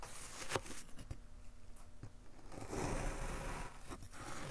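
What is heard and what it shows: A gloved hand draws a thin metal knife blade down through a solid rectangular block of brown kinetic sand, molded from a box and resting on a dark table, slicing off thin slabs. Soft, grainy scraping and crumbling hiss with a low, muffled body, broken by brief sharper ticks as the blade cuts and scrapes through the sand.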